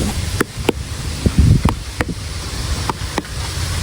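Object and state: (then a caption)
Unripe jackfruit. A jackfruit still hanging on the tree is tapped repeatedly, giving short, dull, low thuds that die away almost at once over a steady broadband hiss. The flat, deep knock marks the fruit as still unripe.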